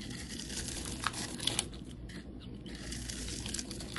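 A rectangular solid yellow bar of soap, held in the hand, has its surface shaved and scraped with a utility knife blade, producing crumbly shavings. The sound is a steady dry, crinkly scraping with a bright hiss, dotted with a few sharp ticks and small crunches.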